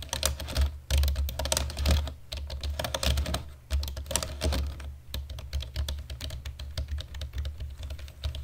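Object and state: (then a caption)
Plastic computer keyboard. Fingertips of both hands type fast and continuously on a black plastic computer keyboard. The result is a dense stream of crisp, bright key clicks over a steady deep low hum, with brief pauses between bursts.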